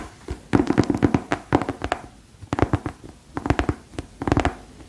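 Long pearl-decorated nails scratch and tap a single yellow rubber rain boot, hollow and empty, first along its treaded sole and then over its glossy shaft. Quick clusters of dull, hollow taps with a low body and a short, dry decay come in bursts, separated by brief quiet gaps.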